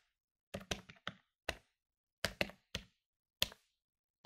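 Fingertips rapidly press the plastic keys of a medium-sized plastic desktop electronic calculator lying on a wooden table. Ten short, dry, bright clicks sound in uneven bursts, each dying away almost at once.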